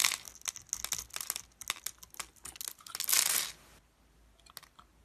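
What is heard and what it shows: A metal blade cuts into a hand-held solid bar of translucent green glycerin soap scored in a grid and scrapes off small cubes. Rapid, bright, crisp crackling clicks build to a louder sustained scraping crunch near the three-second mark. After that, only a few faint, sparse clicks remain.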